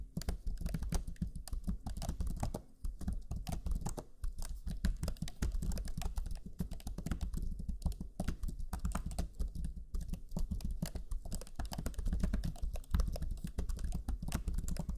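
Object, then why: Plastic laptop chiclet keyboard. Rapid fingertip typing with both hands on the black plastic chiclet keyboard of a Lenovo Legion 5 laptop, its low-profile plastic keys giving quick, dense taps. The presses arrive in a continuous stream with short, dry clicks and a soft low thud under each, pausing briefly near the three-second mark before resuming.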